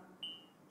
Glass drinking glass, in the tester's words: Kita ketuk ini ya. Nah, ini gelas. Gelas asli.